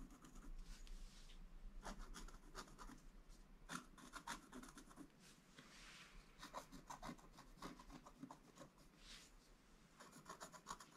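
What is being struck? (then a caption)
Black-coated scratch art paper board scraped with a wooden stylus. A wooden stylus scratches the coating off a flat, black-coated scratch art paper board. Quiet, dry rasping strokes come in short bursts with brief pauses, their bright scraping edges over a steady low hum.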